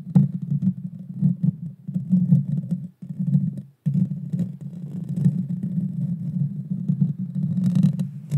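Long dark fingernails scratch directly across the small, hollow, round metal mesh grille of a Blue Yeti Nano microphone. The scratching comes through as a dense, deep, rumbling scrape centred low around 140 Hz, with brief silent breaks near the three- and four-second marks. After the breaks it continues steadily, with faint bright crackles toward the end.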